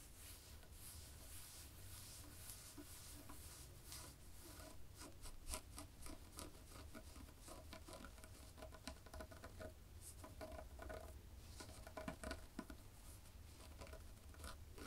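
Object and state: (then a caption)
Knitted fabric being scratched. Long fingernails on both hands quickly scratch and tap a black and white textured knit fabric. The result is a dense, quiet stream of soft, bright scratching and light patter over a steady low rumble, with occasional sharper taps standing out.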